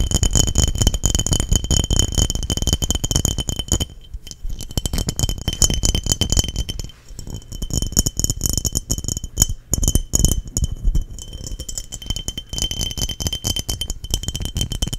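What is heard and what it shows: Long nails tap rapidly on the sides of an embossed, clear, hollow and empty glass mason jar held in front of the microphone. The result is a dense, continuous stream of clicky taps and glassy clinks with a steady, bright high ring and a soft low thump beneath. The tapping briefly thins and quiets around four and seven seconds before picking back up.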